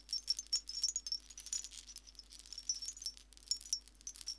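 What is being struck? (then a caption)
Seashell wind chime. A hanging wind chime made of many small white shells on strings is held up by one hand while fingertips and nails touch and jostle the shells. The shells clink together in a steady stream of quick, bright, very high ticks and light rattles that stop almost at once.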